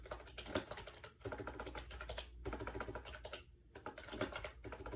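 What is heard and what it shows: Fingertips rapidly type on the round keycaps of a compact gray plastic AJAZZ 308i wireless Bluetooth keyboard with a hollow shell, resting on a bed. The result is dense bursts of quick, light clicky taps, with short pauses around the first and third seconds, over a faint steady low hum.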